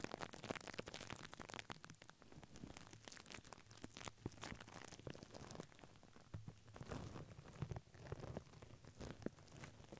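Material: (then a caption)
Paper. A white paper tissue stretched over a microphone head is brushed with a plastic mascara spoolie brush. It makes a steady run of soft, crinkly scratching strokes with a low, muffled rumble underneath. Short bright rustles rise and fall throughout the clip.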